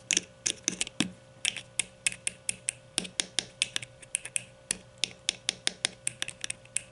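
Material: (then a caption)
Plastic. A grey plastic deodorant stick is held between the hands while long nails tap and scratch the bottom end of its hollow plastic casing. About 31 sharp, bright clicks come in quick, uneven runs, each dying instantly with almost no low end and a faint scratchy texture between them.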